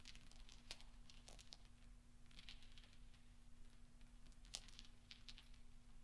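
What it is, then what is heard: Steel pachinko balls clinking. Fingertips roll small solid steel pachinko balls spread on black velvet, making soft, bright metallic clinks and ticks that ring very briefly. The clinks come in quiet, scattered clusters over a faint steady low hum.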